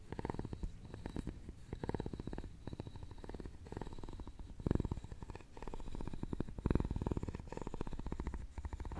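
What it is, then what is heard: Carved wooden jewelry box scraped. A wooden stick scrapes across a hollow, round, openwork carved wooden jewelry box. It makes a rapid, low, rattling purr of dense clicks that swells and fades in several waves, with most of the energy in the low range.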